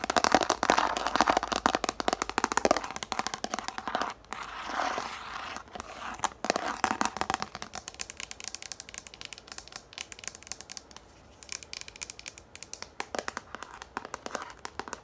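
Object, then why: Plastic frisbee. Long nails tap fast on a yellow plastic frisbee held upright, making rapid, irregular, dry clicks with a crinkly, scratchy texture. The tapping is densest and loudest in the first few seconds, then continues as sparser, sharper clicks. The sound sits mostly in the mid and high range, with almost no low end.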